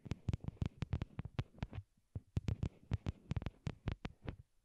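A pair of small white hollow plastic wired Apple earbuds, used as the microphones and resting on a cork board, are tapped with long glittery nails. Twenty-one dry, deep, hollow thumps land in quick uneven runs, with a short pause around the two-second mark, each sounding like a muffled heartbeat close in the ear.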